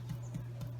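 A cooled sourdough bread loaf, baked for about 15 to 20 minutes, is tapped several times, giving soft, dull, hollow knocks over a steady low hum. The hollow sound shows the bread is done.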